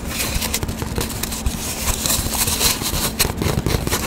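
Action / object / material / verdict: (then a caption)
scrape / cardboard paper towel tube / cardboard / none. Long dark nails tap and scratch quickly on an empty, hollow cardboard paper towel tube, held horizontally and then upright. The result is a dense, continuous patter of hollow, low thumps mixed with bright, papery scratching, over a faint steady hum.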